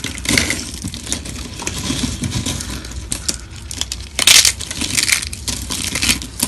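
A pile of thin, dry, brittle pink soap sheets and shavings on a marble surface is squeezed and crushed by both hands, fingertips and short nails, then the fragments are rubbed together. The result is a dense, bright, continuous crackling crunch with a low rumbling undertone and a sharper, louder burst of crunching a little past the midpoint.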